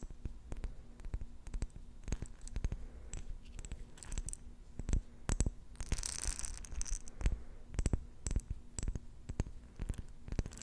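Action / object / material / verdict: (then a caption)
tap / glass jar with metal lid, holding beads / glass / none. A glass jar with a metal lid, partly filled with pink beads, is held in both hands and tapped and scratched with long nails on the glass and the lid. Quick, irregular clicking taps with short, dry decays carry through the clip over a low hum, with a brighter stretch of hissy scratching and bead rustle around the middle.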